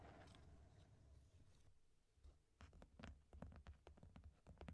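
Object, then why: Closed corrugated cardboard box. A medium, hollow, closed corrugated cardboard box is held briefly, giving a soft, low handling rustle. Then long painted nails tap its top panel near the tape in a quick, uneven run of quiet, hollow thuds, each with a short, dry click.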